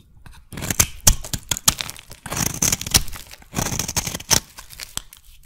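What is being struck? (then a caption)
Soap bar scraped with a metal blade. A solid lilac soap bar is scraped with a metal blade, shaving off flaky curls that pile up. Repeated short, crisp scraping and crunching strokes come in quick bursts, bright and crackly with a faint low thud under each pass.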